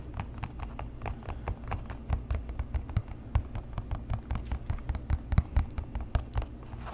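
Fingertips and nails tap and scratch the leather upper of a tan leather boat shoe with laces, hollow and empty, held close to the mic. A quick, steady stream of short, dry taps with a soft, hollow low thump beneath brief bright ticks, mixed with faint scratchy rustling.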